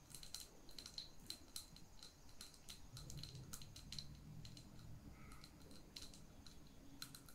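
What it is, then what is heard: Glass jar candle tapped with fingernails. Long nails tap quickly around the body of a small lit glass candle jar cupped in both hands. The taps come as a steady flurry of short, bright clicks with a faint high glassy ring, over a soft low rumble.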